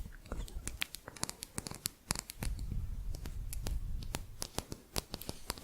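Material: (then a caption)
Metal. Light, quick taps on a thin metal crochet hook give off a rapid, irregular series of sharp, bright clicks that die away almost instantly. A soft low rumble sits underneath the taps.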